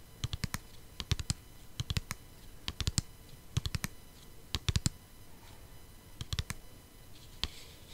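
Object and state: Plastic CD case.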